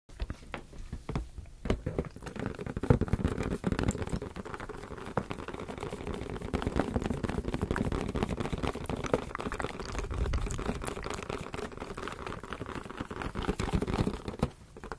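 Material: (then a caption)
Latex. A medium teal latex balloon, hollow and air-filled, is held in both hands and tapped and scratched with the fingertips and nails for about fifteen seconds. Dense, soft, low thumps and rubbery squeaks overlap with faint bright scratching, in a steady, close-sounding stream with brief louder taps throughout.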